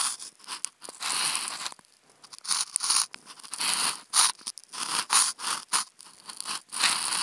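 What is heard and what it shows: Wooden toothpicks scratch across a hollow, octagonal white polystyrene foam food container. The result is bright, dry, crunchy scraping in uneven bursts with short pauses between strokes. It is mostly high-pitched squeaks and rasps with almost no low end.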